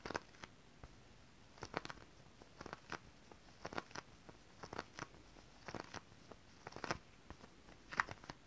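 Long decorated acrylic nails tap and scratch across a flat sheet of shiny holographic mermaid scale-print stretch fabric. Quiet, dry, crisp clicks and scratchy rustles come in irregular clusters, each dying away almost instantly. A faint bright hiss sits between the taps.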